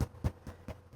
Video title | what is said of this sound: Bird Bread | you want to be able to tap it and hear that it's, you know, solid in there.